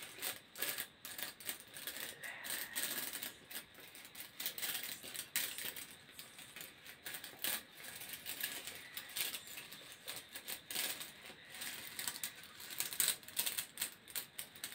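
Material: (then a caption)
Plastic. Fingers and nails scratch and rub the ribbed surface of a grey hollow corrugated plastic hose held in a loop. The result is a quiet, bright, dry rasping made of rapid, irregular bursts of scratching and clicking, with almost no low end.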